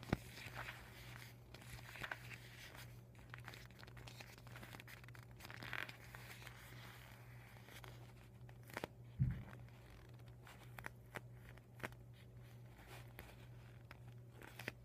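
Medium-length painted nails tap and scratch the folds of a folded, deflated vinyl beach ball resting on a dark table. The clip is soft, with crinkling and scratchy plastic sounds, scattered sharp taps, and a steady low hum underneath throughout.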